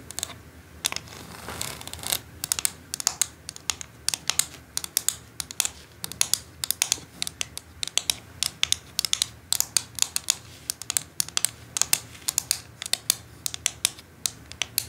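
Long acrylic nails tap and scratch over the holes and ridges of a flat white plastic quilling board with a perforated grid. The result is a quiet, steady stream of sharp, bright clicks with almost no ring, separated by soft, high scratchy rustling and very little low end.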